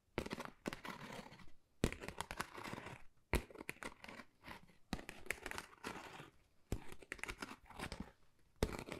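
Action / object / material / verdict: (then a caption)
scrape / pebble-textured cardboard folder / cardboard / none. Long nails scratch across a flat, pale pink, pebble-textured cardboard Dior folder that is thin and hollow. The result is six bursts of dry, crackly rasping, each with a sharp start, separated by short quiet gaps. The sound has a low, hollow body under a papery crinkle.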